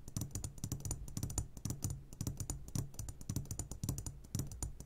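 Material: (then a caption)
Glass. A medium glass jar, turned upside down and full of sugared gummy candies, is tapped on its sides with the short fingertips of both hands. Quick, dry, clicking taps come in a rapid, uneven stream with a soft low thud beneath them and bright ticks on top, each dying away almost instantly.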